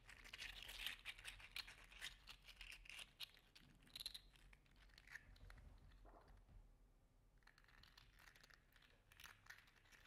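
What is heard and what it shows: A hand-sized, yellow-green metallic 3D printed plastic articulated slug toy, made of segmented hollow links, is curled and bent with the fingers. Its segments clack and rub in a quiet, irregular stream of bright, crinkly clicks and scratches. The sound is densest at the start and thins to soft rubbing later.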